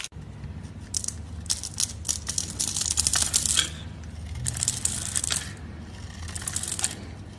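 A utility knife blade shaves and cuts the end of a solid brownish-yellow soap bar held by hand, dropping crumbs onto a pink surface. Repeated crisp, bright scraping and crunching strokes come in dense bursts over a faint low hum.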